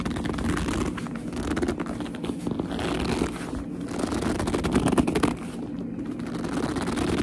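Fingers with long nails squeeze and rub a black leather handbag, producing a continuous squeaky gripping and creaking of the leather. The sound is dense and steady, with most of its energy in the low-mids and only faint brightness above.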